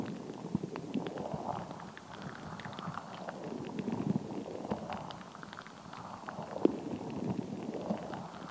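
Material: Rubber.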